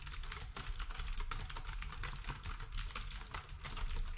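A black compact plastic typewriter-style keyboard with round plastic keycaps is typed on steadily with fingertips. It gives a fast, continuous stream of short clacky taps with a low thump under bright, dry clicks that die away almost at once.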